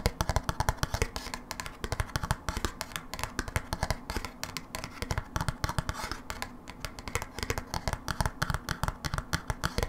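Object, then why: Thin plastic snap-on lid. A small, thin, hollow blue plastic snap-on lid from a cream cheese dip tub, held in the hands off the tub, is tapped and scratched with long manicured nails. Rapid, dry clicking taps with a hollow low thump come in quick bursts, with soft scratchy rasping between them. Each tap dies almost instantly with no ring.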